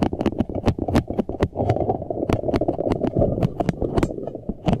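A large green, soft rubber puffer ball, hollow, air-filled and covered in flexible spikes, is held in both hands and squeezed and rubbed with the fingertips close to the face. The result is a fast, dense stream of rubbery squeaks, muffled squishes and sharp crackly taps over a warm low-mid body, with frequent bright clicks cutting through.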